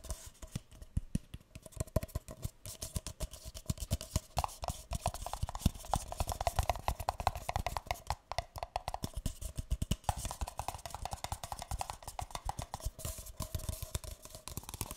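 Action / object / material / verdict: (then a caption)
tap / paper cup / paper / none. A single empty, hollow, light green paper cup is held upside down near the microphone and tapped on its base with fingertips and nails. The result is a rapid, continuous stream of soft, hollow, papery taps with a faint resonant tone running underneath.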